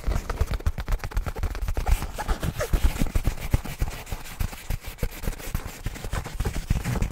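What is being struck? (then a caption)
Padded nylon fabric bag. Fingertips and nails of both hands scratch and rub the surface of a medium black nylon fabric bag, soft and apparently padded, held up close in front of the microphone. The result is a fast, continuous run of short, muffled, low-heavy scratching thumps with almost no bright content, rising and falling in intensity throughout.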